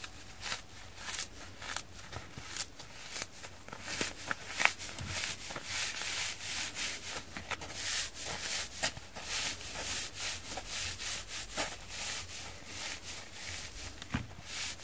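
A hand-sized rectangular kitchen sponge of soft yellow polyurethane foam with an orange abrasive scour layer, frozen and dusted with sand, is held in both hands and squeezed and rubbed with the fingertips, long green-painted nails pressing into the scour side. Steady, bright, crackling scratches and gritty rubbing repeat in short, quick bursts over a hissy background, with little low-end weight.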